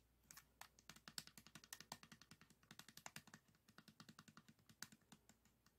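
A 3x3 plastic speed cube, green face forward, is tapped rapidly by fingertips and nails on its tiles. The result is a fast, irregular run of short, dry, bright clicks with almost no ring, at times clustering into quick rolls. The clicks are quiet against a faint low hum.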